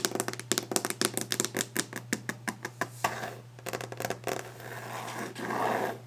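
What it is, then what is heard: Wooden desk. Fingers tap fast and hard on a wooden desk surface, producing a rapid run of sharp, dry knocks with bright clicky edges. The tapping then gives way to softer, hissing scratches and rubs across the wood, with a steady low hum underneath throughout.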